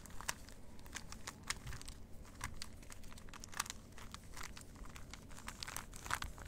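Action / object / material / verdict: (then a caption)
scrape / small plastic puzzle cube / plastic / none. A small plastic 3x3 Rubik's cube is held in the fingers while its layers are twisted and clicked. A quick, uneven run of sharp, bright plastic clicks and crinkly turning sounds rises over a low, steady hum.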